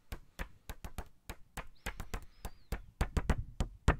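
A small pink paper index card pad, held in the hands, is tapped and scratched with fingertips and nails. About 17 short, dull, muffled taps land in an uneven rhythm, each dying away almost instantly, with a faint high scratchy squeak running beneath the middle taps.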